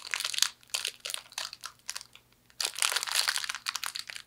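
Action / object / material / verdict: scrape / fortune cookie in a plastic wrapper / plastic / none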